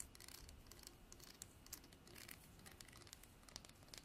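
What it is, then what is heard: Horn comb. Long nails strum the fine teeth of a translucent amber comb, probably horn, held in both hands. A quiet, dense stream of bright, dry ticks and scratchy clicks patters over a low rumbling background, each snap dying away almost instantly.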